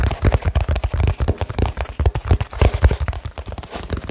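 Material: Cardboard.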